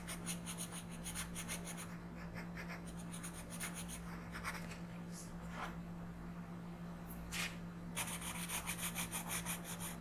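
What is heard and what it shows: An orange colored pencil is rubbed in quick back-and-forth shading strokes across a flat paper coloring book page, making soft, bright scratchy bursts. The strokes come in runs with brief quieter pauses between them, over a steady low hum.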